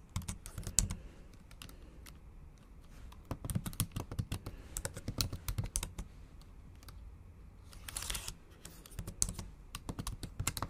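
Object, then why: Laptop keyboard, plastic keys. A MacBook Pro laptop keyboard with black plastic keys in an aluminum body is typed on with long acrylic nails. The result is a steady stream of quick, dry clicking taps with a low thump beneath them and bright nail ticks on top. Around the eight-second mark there is a brief denser rattle of keystrokes.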